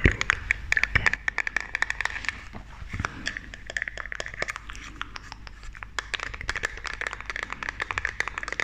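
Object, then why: Plastic makeup compact. A small, round, hollow white plastic makeup compact is tapped and scratched with long, dark-painted nails held close to the microphone. Dense, rapid clicks and scratchy scrapes run throughout. They have a bright, crisp edge and a steady midrange rasp, and each tap dies away almost instantly.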